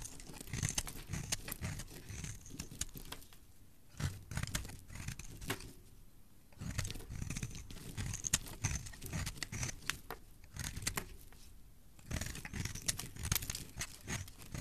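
A metal utility-knife blade scrapes and shaves flakes off the edge of a solid, opaque, hand-sized green soap bar held in the hand. Dense bursts of crisp, crackly scratching with bright, airy highs and a soft low rumble come in waves, separated by brief quieter pauses.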